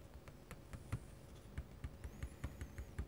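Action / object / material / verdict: scrape / metal dip-pen nib on a paper sheet / paper / none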